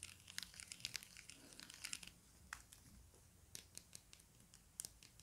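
Fingertips and nails tap and scratch the textured faces of a small hollow plastic stickerless Rubik's cube with blue faces and orange sides. The result is a quiet stream of bright, dry clicks and crisp scratching. Several sharper taps stand out over a soft rustling bed.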